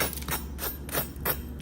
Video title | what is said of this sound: Jerk BBQ Chicken Crescent Ring Recipe - FIFA World Cup Easy Cheesy Recipe Everyone Will Love! | Listen to the crust sound. You hear that? Flaky. Crispy.